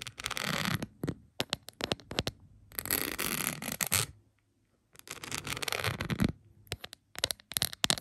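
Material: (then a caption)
Plastic. Long pointed acrylic nails tap and scratch across a rhinestone-covered plastic phone case lying flat. Dense, bright, crackly scraping comes in bursts between quick clicky taps, with short silent pauses between passages.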